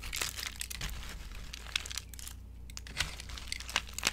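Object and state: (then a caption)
Dry soap shavings crushed by hand. Hands with long nails scoop dry orange soap shavings, dusted with powder, from a glass bowl and crush them between palms and fingers. The result is a steady, bright crinkling crunch with a low hum underneath and sharp, brittle crackles popping out at intervals.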